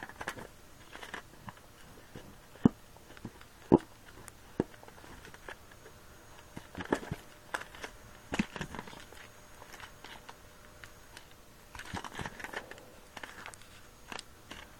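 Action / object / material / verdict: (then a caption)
scrape / small latex balloon / latex rubber / none. A small, soft, squishy red latex balloon with a knotted neck, filled with something unseen, is squeezed and rubbed between damp hands and fingertips on a table. Quiet, irregular squelching and crinkly rubbing noises are broken by a few sharper crackling snaps that die away almost instantly.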